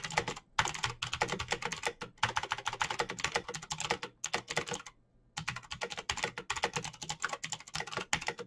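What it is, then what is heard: Plastic mechanical keyboard. Fingertips type fast on a black plastic mechanical keyboard with clicky switches and backlit keycaps. Rapid, bright clacking keystrokes run in quick bursts, broken by brief pauses and one longer gap near the middle.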